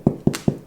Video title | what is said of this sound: Sourdough Bread Baking | Give it a tap on the bottom. Get that hollow sound.